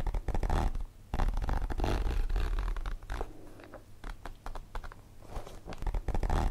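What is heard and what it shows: Long nails tap and scratch across a holographic plastic zippered pencil case held in the hands, with its contents inside. Dense, irregular crinkly taps and scrapes carry a low, rumbling body. The activity eases into a quieter stretch midway before building back up.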